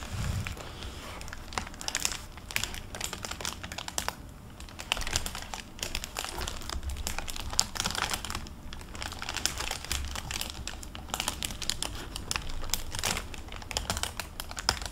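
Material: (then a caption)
Plastic film, paper. An open hardcover library book with a plastic-covered paper dust jacket is held in the hands while its paper pages and the jacket are flipped and turned. Dense, bright crinkling and rustling bursts come in quick succession for the whole clip, over a steady low rumble.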